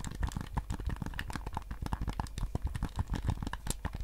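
Fingertips tap and press the buttons of a white PS5 DualSense controller, a handheld, hollow hard plastic shell held in both hands. A rapid, steady run of short, dry clicks and soft thuds is heard, each with a low, hollow body and almost no ring.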